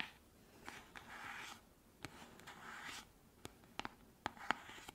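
Long manicured nails scratch and tap the sides and cream-colored screw lid of a small, round, yellow-green cosmetic cream jar, probably plastic but possibly frosted glass, held in both hands and apparently full. Soft, bright, hissy scratching swells come and go, punctuated by about nine sharp, dry taps that stop instantly. The whole clip stays quiet and close.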